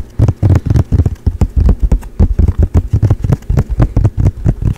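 A medium-size, flat, blue painted canvas panel with a Charizard painting, held in both hands, is tapped fast with the fingertips. The result is a rapid, uneven run of dull, low thuds with almost no ring and no high-end brightness.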